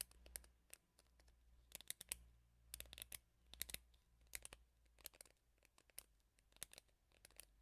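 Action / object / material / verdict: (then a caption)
scrape / plastic hairbrush with rubber bristle pad / plastic, rubber / none. Fingernails scratch and strum the bristles of a teal plastic hairbrush with a black rubber bristle pad held close to the mic. The result is a quiet run of bright, crackly flicks and scratchy bursts that come in irregular clusters with almost no ring, over a faint low hum.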